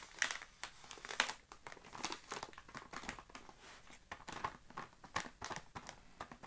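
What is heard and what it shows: Fingertips scratch, rub and crinkle the surface of a full, sealed plastic-film Oreo cookie package resting on a grey carpet. Quiet, irregular bursts of bright, crisp crackling come with soft scratchy rubbing between them. Each crinkle stops sharply with almost no low end.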